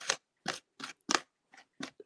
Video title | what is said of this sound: Mediums acryliques | ça sonne le sable là, quand on joue avec ça. ... ici, on entend là, le sable.